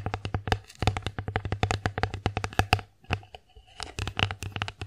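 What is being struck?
Wooden plate.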